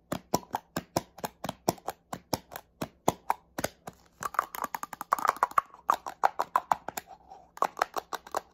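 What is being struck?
Plastic spray bottle.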